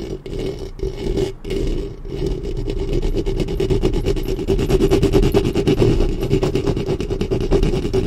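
Long nails and fingertips scratch the top of a black studio microphone's hollow metal mesh grille. The result is a dense, rapid, uneven rasping and scraping with a boomy low-end rumble and a steady hum-like tone near 380 Hz. It grows slightly louder and busier after the first two seconds.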